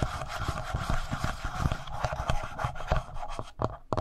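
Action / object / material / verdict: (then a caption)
scrape / plastic handheld audio recorder / plastic / none. Fingertips rub the upper body of a handheld black plastic Tascam audio recorder, right beside its mic capsules. The result is a close, dense rubbing and scratching texture, heavy in low rumble with quick brushy bursts. Toward the end the strokes thin out and grow quieter before one last louder swipe.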